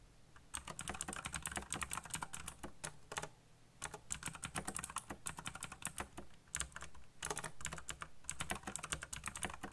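Fingertips type quickly on the keycaps of a backlit, colorful, black plastic mechanical keyboard, producing rapid bursts of sharp, bright clicks and clacks. Short pauses fall around the 3-second and 6-second marks. A steady low hum runs underneath throughout.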